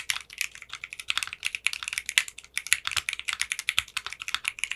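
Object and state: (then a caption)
Plastic mechanical keyboard being typed on. Fingertips with short manicured nails type on a 60% mechanical keyboard with clear pink polycarbonate keycaps. A fast, steady stream of short, bright, clacky keystrokes follows, each dying out almost instantly, with no low-end thump.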